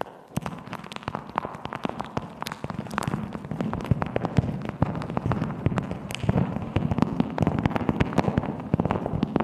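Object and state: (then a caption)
Beeswax-coated fabric wrap being crinkled. A patterned beeswax-coated cotton wrap, thin and stretched over the top of a microphone around a hollow shape, is crinkled, scrunched and scratched by long nails and fingertips. The stiff waxed fabric gives a continuous stream of sharp, crackling pops and clicks over a low, hollow rustle, steady for the whole clip.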